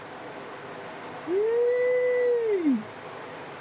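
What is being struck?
Nothing is struck.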